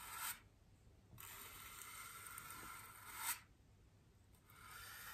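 The stiff bristles of a small wooden-handled paintbrush are brushed across a large white solid styrofoam wreath ring resting on a table. It makes a soft, bright, hissing scrape, with longer brushing strokes separated by quieter pauses. The sound stays light and airy, with little low end.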